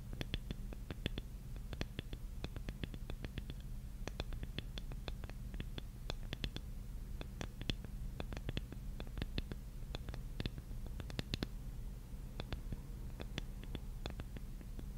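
A large, flat, solid light-wood jigsaw puzzle piece, held up, is scratched and tapped with long nails. Many short, sharp clicks and scratches with bright, crisp edges land in irregular bursts over a steady low hum. The sound is quiet and close, and each tap dies away instantly.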